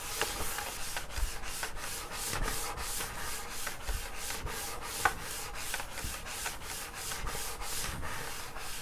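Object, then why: Wood-grain school desk top. Fingertips and short nails of both hands scratch and rub across the grain of a flat wood-grain school desk top, a large solid panel. A steady run of rhythmic, bright, hissing strokes repeats throughout, with two sharper clicks standing out from the scratching.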